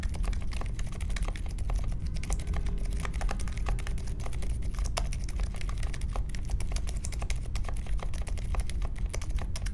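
Fingertips type fast on a compact Polaris mechanical keyboard with a metal case, plastic keycaps and silent Alpaca switches, resting on a marble desk. A dense, steady stream of short, muted taps and clacks with quick, dry attacks runs over a constant low rumble. The sound stays even in level throughout.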